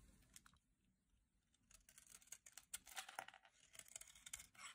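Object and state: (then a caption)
Dry soap bar being shaved. A solid red and pink striped dry soap bar, held in the hand, is shaved with a metal utility knife blade, sending curls flying off. It makes quiet, bright, crisp scraping and crackling strokes, sparse at first and then coming in a quick, dense run of short dry shaves. Each stroke dies away almost instantly.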